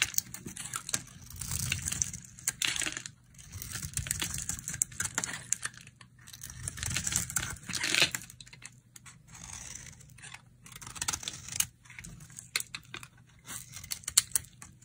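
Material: Soap.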